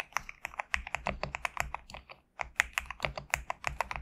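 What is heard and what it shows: Fingertips type rapidly on a compact GMK67 mechanical keyboard with PBT plastic keycaps, producing a quick run of sharp, bright clacks with very short decay. The keystrokes pause briefly just past the two-second mark, then resume at the same brisk pace.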